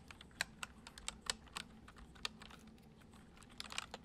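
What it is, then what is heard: Plastic computer keyboard being typed on. Fingertips of both hands type fast, repeated taps on a full-size white plastic computer keyboard with hollow keys resting on a wooden desk. Quiet, bright, clicky keystrokes come in irregular bursts, each dying away almost instantly. A faint low hum runs underneath.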